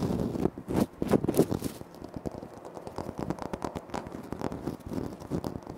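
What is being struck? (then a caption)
Granite floor tile. Fingertips and nails tap and scratch on a large, flat, solid, speckled granite-like floor tile, with the hands close to a Tascam recorder. Quick, dry, crisp taps and scratchy rustles come in an irregular, rapid stream. A louder, busier flurry in the first two seconds settles into softer, steady tapping, with each hit dying away instantly.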